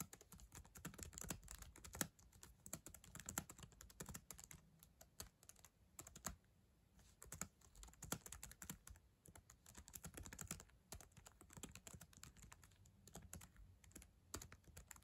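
Long acrylic nails type fast on the plastic keyboard of a black ThinkPad laptop. The result is a quiet, rapid stream of sharp, bright clicks and clacks that die away instantly, over a low rumbling bed. The typing pauses briefly a few times before resuming.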